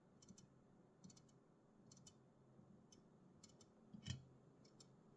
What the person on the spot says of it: Einfach nur Tapping auf einer Red Bull Dose – keine Musik, kein Gerede, nur Sounds.